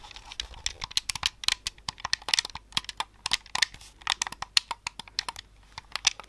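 A hollow, handheld white plastic Xbox-style controller, held in both hands, is worked by fingertips clicking its buttons, thumbsticks and triggers close to the microphone. About thirty quick, dry plastic clicks and taps come in an uneven, rapid stream over six seconds, each bright and snappy with almost no ring and very little low end.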